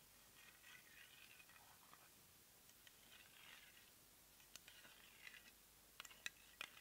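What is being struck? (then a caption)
Small plastic cosmetic jar tapped with fingernails. Long nails tap the lavender plastic lid of a small round cosmetic jar, likely filled with product. Soft, scratchy rustling comes first, then a series of quick, bright, dry clicks that stop at once with no ring, in a quiet setting.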